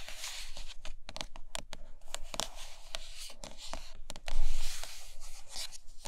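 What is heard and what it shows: Long nails scratch the sides and top of a large, hollow white iPad Pro cardboard box with a glossy printed lid. Quick bright, papery scratching strokes come in rapid bursts over a low, steady hum. One louder, rougher scrape stands out about two-thirds of the way through.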